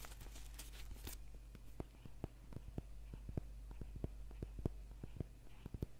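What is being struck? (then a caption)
Paperback book, paper and card cover. Fingernails scratch and tap a thick, solid paperback book held in the hands, working over its cover and spine edge. A second of bright, papery scratching gives way to a run of short, dry taps, each ending almost at once, over a quiet, steady low hum.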